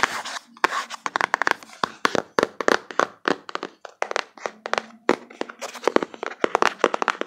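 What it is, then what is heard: Cardboard box. Fingertips with long nails quickly tap and rub the back panel of a closed, hollow, printed cardboard card box held in both hands. The result is a rapid run of short, dry, hollow taps with no ring, broken by brief scratchy rubbing, over a faint low hum.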